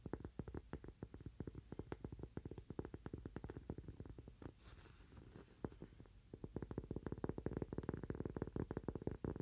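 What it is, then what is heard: Cork coaster. A thin, solid, toast-shaped cork coaster, held upright in both hands, is tapped and scratched with fingernails. A rapid stream of short, dull, low-pitched taps dies away instantly, easing into a softer scratchy stretch around the middle before dense tapping resumes.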